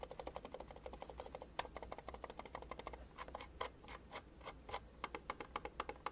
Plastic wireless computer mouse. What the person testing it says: there's nothing too rattly or wobbly around it